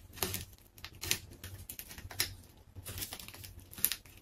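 A large, solid pink ball of layered plastic tape rests on a tiled floor while its layers are cut with a metal craft knife and pulled apart by fingers. The result is bright, crisp crinkling and tearing, with sharp crackles and quick snaps between quieter rustling.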